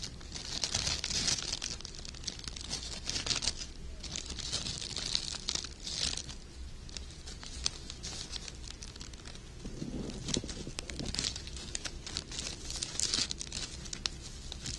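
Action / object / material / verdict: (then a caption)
scrape / sheer wired fabric ribbon / sheer fabric / none. A length of gold glittery sheer wired ribbon is pinched, folded, crinkled and rubbed between fingers with short red painted nails, up close. The thin fabric gives a steady run of crisp, dry crinkles and rustles, mostly bright and high, swelling in waves of hiss with sharp ticks throughout and a brief softer, lower rustle near the ten-second mark.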